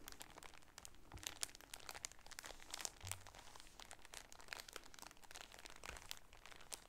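Both hands squeeze and crinkle the thin plastic wrap on a packaged polka-dot shower curtain. Dense, bright crackles and snaps run steadily through the whole clip, with a few soft low thumps.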